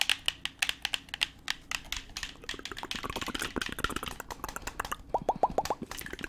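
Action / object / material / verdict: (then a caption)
tap / plastic gamepad with buttons / plastic / none. A hand-sized black plastic gamepad with a hollow shell and buttons is held in both hands while its buttons are clicked and the shell is tapped with the fingertips. Sharp, bright clicks with very short decay come first spaced apart, then crowd into a quick run of soft tapping. The clip ends with a short burst of tonal ticks around 700 Hz to 1 kHz.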